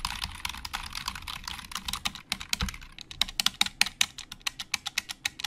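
Fingertips type on a black plastic Logitech keyboard with hollow plastic keys, making bright, hollow clicks with almost no ring. For the first half the typing is fast and dense, with keystrokes blurring together. It then slows to sharper, evenly spaced single key taps.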